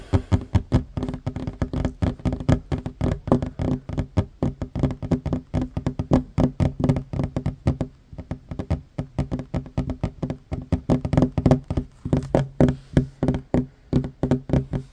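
Hands with short fingernails tap quickly on a flat, solid wooden tabletop. The result is a dense, steady run of short, dull knocks with a low, woody tone and almost no ring. The tapping pauses briefly around the middle.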